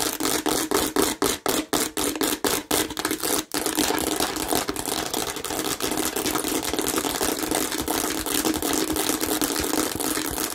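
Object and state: Plastic watermelon-shaped bottle.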